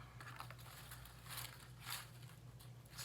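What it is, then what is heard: Dry, crispy houseplant leaves. Dried-out houseplant leaves, left unwatered for about a week, are handled and give a quiet, dry crispy crunching and crinkling. Several bright bursts of crackle stand out over a steady low hum, showing the leaves have gone crispy.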